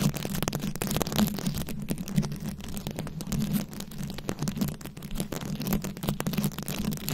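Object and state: Rhinestone-covered microphone scratched with nails.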